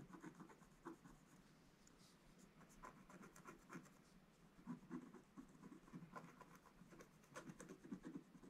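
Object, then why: Wax-coated scratch-art paper scraped with a wooden stick. A wooden stick scratches lines into the black coating of a gold scratch-art paper page. The result is a quiet, dry scraping made of short, repeated strokes. The strokes are mostly low-mid, with faint bright flecks.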